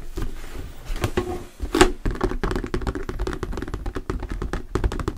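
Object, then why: Thin textured plastic sheet. Fingertips tap and knock rapidly on a thin, translucent plastic sheet or lid with a diamond texture, held upright. The result is a dense run of dull, hollow plastic clicks and thunks with a faint ring around 370 Hz, each dying out almost instantly.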